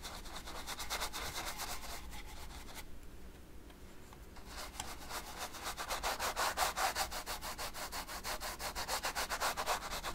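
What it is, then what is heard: Brush strokes on an oil-painted canvas. A fine brush rubs short, quick strokes over the right side of a large stretched canvas covered in oil paint, giving a dry, bristly swishing with a bright, hissy edge. The strokes repeat at roughly two to three per second, fade into a near-silent pause around the third to fourth second, then return louder and more distinctly pulsed until the end.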